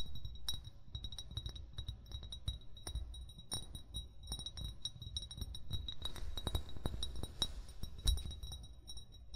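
An upright, hollow amber (brown) glass bottle, its fill level not visible, is tapped with short fingernails and fingertips. Quick, light taps and clicks produce short, bright glassy clinks with steady high ringing tones over a low, dull thump.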